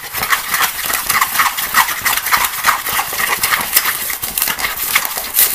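A small, empty, hollow green plastic box or bowl resting on a table is scratched fast with fingertips and nails, inside and along its walls. The result is a dense, continuous, dry rasping scratch that is concentrated in the upper mids and bright highs with almost no low end. It pulses with irregular louder strokes throughout.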